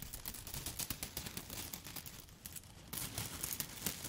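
Long foil-covered nail tips tap and rub a handful of dry yellow spaghetti sticks held close up. A quiet, rapid run of crisp clicks and scratchy, bright rustling softens briefly in the middle, then returns louder toward the end.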